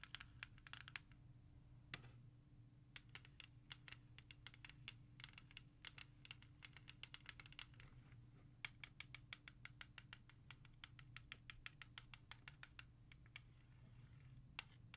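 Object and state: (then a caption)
Plastic CD jewel case tapped with nails. Long nails tap quickly and trace letters across the back of a Salsa Fever CD in a clear plastic jewel case lying back side up. The result is a fast stream of sharp, bright plastic clicks and light scratches over a steady low hum.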